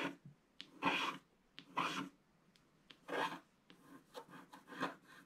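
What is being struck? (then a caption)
Wax-coated scratch-art paper scratched with a wooden stylus. A wooden stylus scratches the tree area of a flat, black wax-coated scratch-art sheet. Dry, bright rasping strokes of varying length alternate with short, light ticks and brief quiet gaps, in an uneven rhythm.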